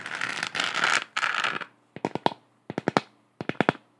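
Long acrylic nails scratch across a lit, hollow, textured plastic moon lamp globe with a galaxy print, making two bright, raspy scratching bursts. Then come twelve sharp, dry taps in three quick groups of four, each click dying away almost at once.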